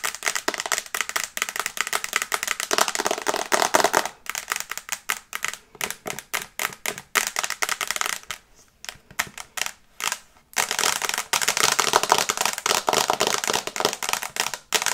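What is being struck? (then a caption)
Glass tablet screen in a plastic case. Long painted nails tap rapidly on the glass screen of an iPad in a teal plastic case, held in front of the face. The taps make dense, bright, dry clicks with no low end, coming in fast runs. The pace thins out briefly near the middle before a long, continuous flurry resumes.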